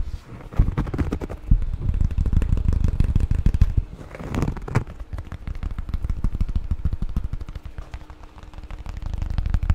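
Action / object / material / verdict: tap / thin square cork board tile / cork / none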